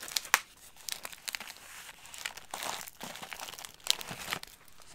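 A clear plastic bag of light crackers is held in both hands while fingertips and nails squeeze and crinkle it, making the contents shift inside. The sound is a run of bright, crisp crinkles and sharp crackles with almost no low end, with a few louder snaps standing out.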